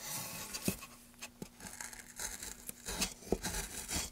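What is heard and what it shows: A gloved hand uses a wooden-handled gouge to carve and scrape the groove in a solid, light wooden plank held steady. The clip is a dry, bright rasping and scraping, with short, sharp clicks and knocks where the blade catches and bites into the wood. A faint steady tone runs underneath.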